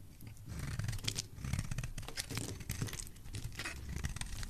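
A solid pale pink soap bar, held in hand, is carved with a utility knife blade, and flakes fall off. A steady run of soft, crunchy scraping and crackling cuts over a low, muffled rumble, with bright flicks as each slice comes away.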